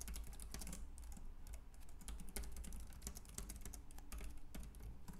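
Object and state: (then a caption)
Plastic compact keyboard being typed on. Fingertips type rapidly on a white, compact plastic Logitech K380 keyboard with round keys. The result is a dense, continuous stream of quick, bright plastic key clicks over a steady low hum.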